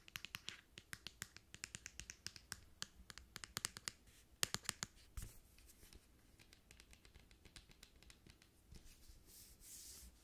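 Long manicured nails tap and rub a tall, hollow white plastic lotion bottle with a purple cap, held in the hands. A quick run of sharp, bright, dry clicks fills the first half, then gives way to softer scratching and rubbing with scattered light taps.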